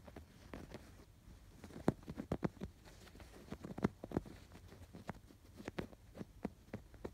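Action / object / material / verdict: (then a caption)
scrape / stuffed canvas pillow with yarn embroidery / canvas, yarn / none. Fingertips scratch and rub the raised yarn embroidery on a stuffed canvas pillow. The result is a quiet, irregular series of soft, dull scratches and thumps, mostly low and muffled, with brief sharper strokes that stop dead with no ring.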